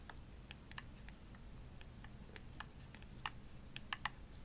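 Long nails tap the shell and buttons of a hollow, purple glossy plastic Xbox controller. The result is soft, irregular, bright clicking taps with a very short decay, over a low, steady background rumble. The last few taps are louder and come closer together.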